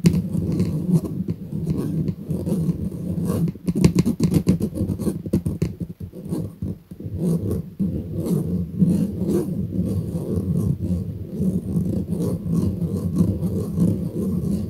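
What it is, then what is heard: Metal mesh kitchen strainer being scratched. Fingernails scratch the mesh of a round stainless steel kitchen strainer, making a steady, dense rasping that sits mostly in the low range with thin, bright scratchy edges. Rapid bursts of short strokes come and go, briefly dipping quieter midway before the continuous scratching resumes.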